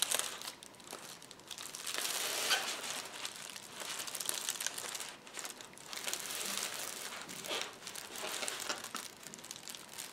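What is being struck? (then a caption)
Plastic bubble wrap sheet. A clear plastic bubble wrap sheet is rolled into a tube by both hands, with fingertips pressing and crinkling it. The result is a steady, bright, dense crinkle with irregular crackles, swelling louder around two to three seconds and again around six to seven seconds.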